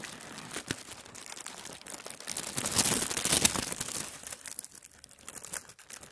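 A large, wrinkled sheet of thin tissue paper is rubbed and pressed flat with fingers and palm on a wooden table. Dense, bright crinkling and rustling rises in a louder swell through the middle, then thins into scattered soft crackles.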